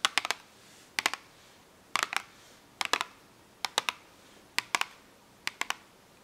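Long acrylic nails tap and scratch on a small, full cardboard box of washable markers held upright. There are seven quick bursts, each of two to four sharp, bright clicks with almost no ring, separated by near silence.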